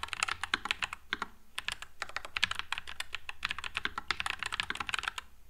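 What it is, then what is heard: Mechanical keyboard with plastic keycaps. Two hands type with their fingertips on a white low-profile Nuphy Air96 mechanical keyboard with Wisteria switches and plastic keycaps. The result is a steady, fast stream of short, bright clacks that die away almost instantly, over a faint low hum.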